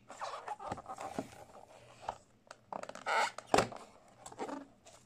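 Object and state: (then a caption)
Cardboard box scratched and tapped. Fingertips in pink latex gloves scratch and tap a small, closed white cardboard product box, apparently holding a gaming mouse, on a wooden desk. Dry, papery scratches and soft taps come in irregular bursts that die away quickly, with a louder rasping scrape near the middle and one sharp tap just after it.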